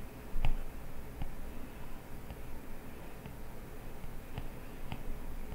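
A plastic stylus tip scratches short line-art strokes across an iPad glass touchscreen, with light taps mixed in. The sound is quiet and low, a soft, dry scratching broken by faint clicks that die away almost instantly, the first tap standing out as the loudest.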